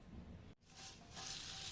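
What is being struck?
Nothing is struck.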